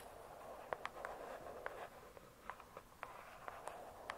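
Long pointed acrylic nails tap close-up on the glossy paper-covered cardboard cover of a thick, solid hardcover book lying flat. The result is a quiet series of short, dry, mid-pitched clicks with a bright tick on top, irregularly spaced over a faint steady hiss.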